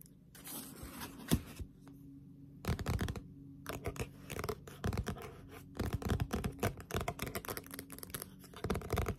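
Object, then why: Paperback manga book, paper. Long pointed nails tap quickly on a Death Note Black Edition paperback manga, a thick solid paper book with a dark glossy cover, first while it is held and then while it lies flat. Bursts of fast, dry clicks and scratchy taps come in uneven clusters over a low steady hum, with short pauses between the runs.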